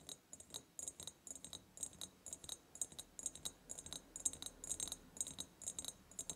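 Long painted nails tap and scratch the sides of an empty ribbed clear glass jar. Quick, irregular runs of sharp, bright clicks sound with a faint high glassy ring that dies away almost at once. Soft scraping fills the gaps between the taps.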